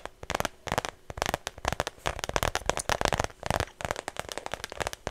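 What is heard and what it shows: Long nails rapidly tap and scratch the flat face of a small, hollow, cream-colored shoulder bag with a thin strap that looks like smooth faux leather, held close to the mic. The result is a dense run of sharp, dry clicks and crackly scratching bursts that die away almost instantly, with brief quiet gaps between clusters.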